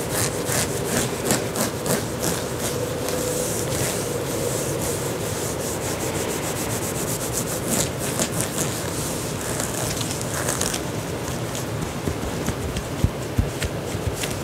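Fingertips and nails of both hands scratch and rub an olive green knit fabric tank top being worn, at the collar and chest. The result is a steady, dense scratchy rustle of quick, uneven strokes with a bright hissy edge and a soft low rumble underneath. A few sharper scrapes stand out near the end.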